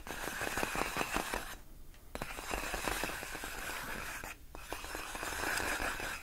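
Long nails scratch and tap on large clear inflated plastic air-column cushion wrap, its hollow air-filled tubes. The result is a steady stream of quick, irregular crinkly clicks and scrapes with a bright, papery edge, broken by two brief quiet pauses.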